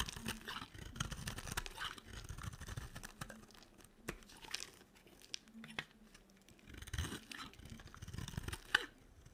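A small metal blade carves and scrapes crunchy flakes from the edge of a hand-sized, hand-held solid bar of dry white and pink soap. Dry, crackling crunches and brittle scraping strokes come in irregular bursts with short quiet gaps, with a bright, crisp flaking texture over a low rustle. A sharp snap stands out near the end.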